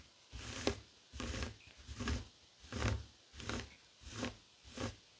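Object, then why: Woven fabric coaster. Fingertips and short nails scratch across a flat, heart-shaped woven tapestry fabric coaster resting on a wooden table. Short, rough bursts of scratching with a low rumble and a bright hiss repeat at a steady, unhurried pace, separated by brief quiet pauses.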